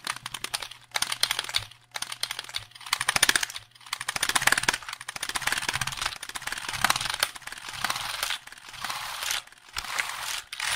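Fingertips tap and press the keys of a hollow black plastic computer keyboard held upright near the microphone. Rapid, bright, clicky taps come in dense bursts with short pauses. Each tap dies almost instantly over a faint low hum.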